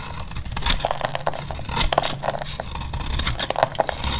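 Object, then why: Bar of soap shaved with a blade. A solid, dry, cream-colored bar of soap is held in the hand and shaved into thin flakes with a utility-knife blade. Each stroke gives a short, dry, crackly scrape with bright, crisp edges and a slight woody tone. The strokes come in quick, uneven succession over a low background rumble.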